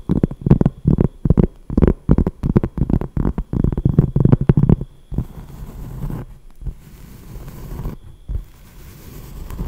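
A large, flat, solid round cork trivet or coaster, held in both hands, is tapped quickly by long nails, giving about five seconds of rapid, dull, low-pitched knocks. The tapping then gives way to softer, continuous scratching on the cork surface, with occasional light taps.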